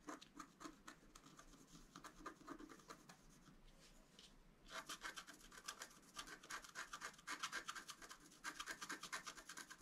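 A wooden scratch stylus held in the fingers scratches the coating of a flat black-coated scratch art card with a deer and flower design, lying on a table while the other hand holds the card. Quick, dry, bright scratching strokes come in a steady rhythm, ease into a quieter stretch near the middle, then return louder and denser toward the end.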